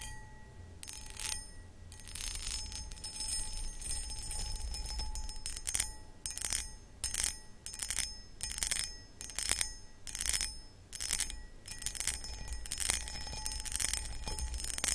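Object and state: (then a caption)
Cut crystal bowl scratched with fingernails. Long acrylic nails scratch across the cut pattern of a medium, hollow, empty cut crystal glass pedestal bowl. Irregular bursts of bright, raspy scratching rise and fall over a faint steady ringing tone and a low background rumble.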